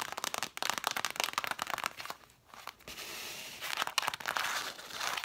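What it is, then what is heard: Cloth-bound book spines tapped and scratched. Long matte dark nails tap and scratch the red cloth spines of a stack of six vintage hardcover books with gilt lettering. Rapid, dry, crisp taps with no low end come first, then a brief lull and a steady bright scratching hiss. A final stretch mixes faster tapping with scratching.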